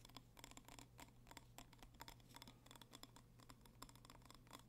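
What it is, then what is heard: Glass candle jar, tapped and scratched. A small red glass candle jar with a label, filled with wax and held in both hands, is tapped and scratched with fingertips and nails. It produces a quick, uneven run of bright, short clicks with faint glassy ringing and soft scraping between them, over a steady low hum.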